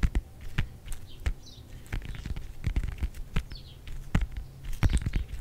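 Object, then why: Whole orange with peel. Fingertips and nails quickly tap and scratch the peel of a whole, fresh, palm-sized, solid orange held in front of a microphone. The result is a fast, uneven patter of short, dull, low thumps with brief faint bright scratches between them.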